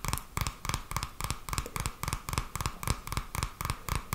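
A purple paperback book with a card cover is held in both hands while fingertips tap and scratch the cover, then the edge of the pages. A quick, uneven run of soft taps, about three or four per second, each has a dull low thump and a dry, bright scratching rustle that dies away almost at once.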